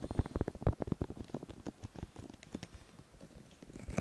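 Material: Silicone.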